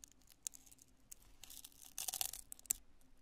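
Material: Polyurethane foam.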